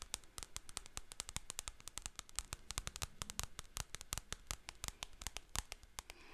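Long painted fingernails scratch and tap the glossy paper cover of a solid paperback book, "Haunted Houses & Scary Mysteries," held upright in front of a microphone. About 47 quick, sharp, crisp clicks land in a fast, uneven run, each dying away almost at once over a faint low rumble and soft scratchy texture.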